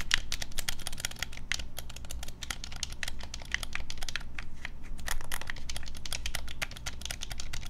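A black, hand-sized, hollow plastic Nintendo Switch Pro controller is held in both hands over a wooden desk while fingertips and thumbs rapidly tap and press its buttons. The result is a dense, steady stream of short, dry plastic clicks with bright, high edges over a low background hum, with no pauses and little ring.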